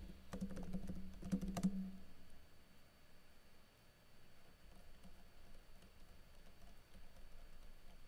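Fingertips with blue nails slowly type on a plastic backlit laptop keyboard, tapping its plastic keycaps. A cluster of sharp, short clicks comes in the first two seconds over a low, steady hum. Quieter, softer taps follow for the rest of the clip.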